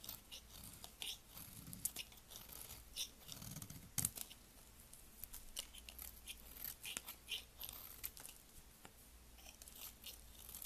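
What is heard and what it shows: A solid green translucent layered soap bar with red ends, held upright between the fingers, is shaved with a blade. Quiet, bright cutting and scraping sounds come in a dense run of crisp, crackling strokes, with a few sharper scrapes standing out.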